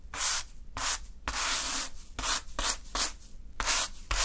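A small natural-fiber hand broom sweeps a small heap of fine green sand across a dark surface. A series of bright, scratchy brushing strokes rise and fade one after another, some short and one longer and steadier, with quiet pauses between.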